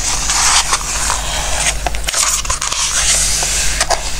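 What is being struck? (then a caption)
Glossy coated paper book pages. Fingertips and a palm rub across the coated pages of an open glossy-paper book lying on a wooden table, and one page is lifted. A steady, bright hissing swish runs throughout over a faint low hum, with soft papery crinkles and small ticks as the page moves.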